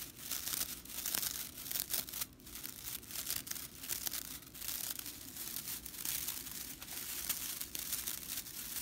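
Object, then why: Straw whisk broom bristles. Fingers and long nails bend, scratch and flick the flat, dry straw bristles of a whisk broom, making a steady, bright, dry crackling and rustling with many quick snaps. The sound stays high and crisp with almost no low end, and each flick dies away instantly.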